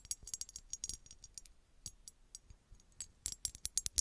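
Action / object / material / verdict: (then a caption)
tap / small embossed glass bottle tapped with fingernails / glass / none. Long red acrylic nails tap and scratch a small, hollow, empty-looking red glass bottle with a textured embossed surface, held close to the mic. Quick, bright clicks and scratchy ticks come in rapid bursts with almost no ring and little low end, closing with a run of louder, sharper taps.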